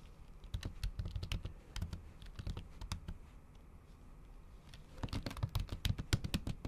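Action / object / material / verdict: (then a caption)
tap / plastic laptop keys under a silicone cover, typed with nail tips / plastic, silicone / none. A MacBook Pro keyboard with plastic keys under a thin pink patterned silicone cover is typed on with the tips of long acrylic nails. Quick, soft, muffled taps come in bursts with very short decay, deep and dull in tone with a faint bright click on each stroke. There is a quieter pause in the middle before a faster run of typing resumes.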